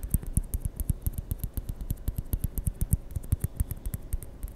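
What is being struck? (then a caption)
Plastic ping pong ball. A small white hollow plastic ping pong ball is rolled and tapped with fingertips close to a microphone. A rapid, uneven series of about 35 short, dry taps follows, each a soft low thump with a faint bright click on top. The taps die away almost instantly.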